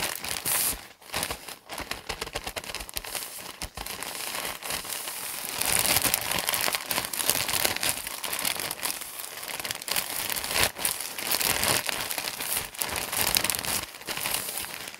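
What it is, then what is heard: Plastic bag of cotton pads. Fingertips tap, squeeze and crinkle a large, thin plastic film package full of cotton pads. The result is dense, bright crinkling and crackling with quick, irregular taps and squeezes that run continuously throughout, with little low end.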